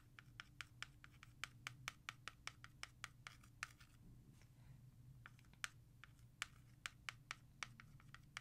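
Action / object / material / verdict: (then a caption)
tap / plastic CD jewel case / plastic / none. Long nails tap fast and scratch across the front of a hollow plastic CD jewel case, then the back after it is flipped over. About 30 short, bright clicks sound over a soft scratching rasp that swells in the middle, with a steady low hum underneath.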